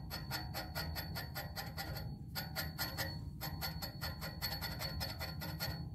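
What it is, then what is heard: Hollow metal music stand tube. Fingertips and nails tap rapidly on the slim, hollow, coated black metal tube of a music stand pole. Each quick tap rings out like a bell, with a steady high tone. The taps come in fast runs, with a couple of brief pauses, over a low rumbling background.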